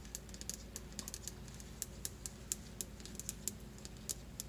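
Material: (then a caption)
Stone. Long glitter nails tap and scratch quickly across a solid white stone countertop, making rapid, sharp, bright clicks that stop almost instantly. The clicks come in an uneven stream over a faint, steady low hum.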